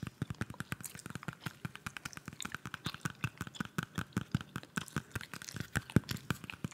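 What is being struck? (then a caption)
Whole apple. Long manicured nails tap and scratch a whole, solid red apple held in hand close to the microphone, with peeled apples sitting still nearby. A rapid, steady run of short, dull, low-pitched taps is heard with light scratching between them, and gum chewing may also be audible.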